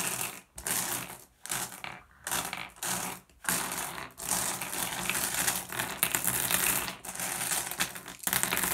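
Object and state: Glass gem pebbles.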